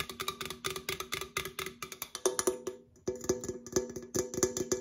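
An opened, hollow red Coca-Cola aluminum can is rotated between the hands and tapped with long acrylic nails on its side and near the open top. The rapid, bright, clicky taps carry a short hollow metallic ring. They pause briefly around the three-second mark, then resume slightly louder.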